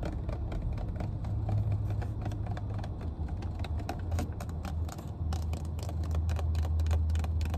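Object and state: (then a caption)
Plastic water bottle. Long painted nails tap and scratch the body and cap of a full, clear plastic water bottle in a car. Quick, irregular clicking taps with bright ticks sit over a steady low rumble that dominates the sound throughout.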